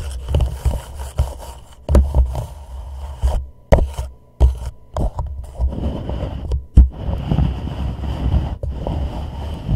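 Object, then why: Plastic reusable cup. Fingertips of both hands tap and lightly scratch the sides of a hollow white plastic reusable cup turned upside down over a microphone. Deep, hollow thumps that die away quickly mix with soft, continuous scraping and rubbing.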